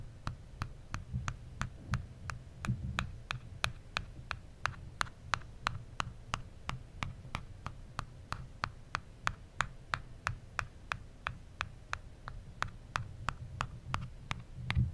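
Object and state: Aluminum phone back.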